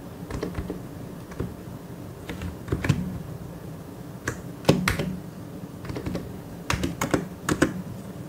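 Slow fingertip typing on a white and grey plastic mechanical keyboard, with sharp, bright key clicks in loose clusters over a steady low hum. Each keystroke is a short, crisp tap that dies away quickly, with a few louder presses standing out.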